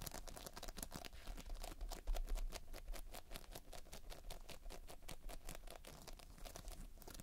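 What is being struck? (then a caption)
Polystyrene bead playfoam. Fingertips press, squish and scratch through a solid, soft mound of sticky multicolored polystyrene foam-bead playfoam. The result is a steady, dense stream of quick crackling, crinkling pops and clicks over a low, quiet rumble, with a slightly louder burst around the two-second mark.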